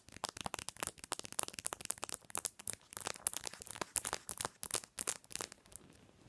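Long nails rapidly tap and scratch the back of a smartphone in a hard plastic case with a pink pattern and a metal ring grip, lying on a white pillow. Quick, crisp, bright clicks come in dense bursts with scratchy crinkling between them, with almost no low end and no ring after each tap.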